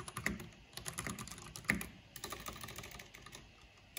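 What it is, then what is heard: Plastic mechanical computer keyboard being typed on. Both hands with long nails type quickly on a black plastic backlit mechanical keyboard with hollow plastic keycaps. The result is a steady, irregular stream of sharp, bright plastic clicks and clacks with a hollow low thud under each keystroke, with occasional louder strikes standing out.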